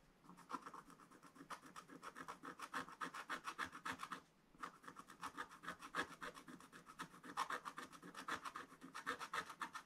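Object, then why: Coated scratch-art paper scraped with a wooden stylus. A wooden stylus scratches and rubs the black coating off a flat, thin scratch-art paper page in a spiral book. Quick, uneven back-and-forth strokes make dry rasping scrapes, centered in the midrange with a bright hiss and little low end. A short pause breaks the strokes near the middle before they resume.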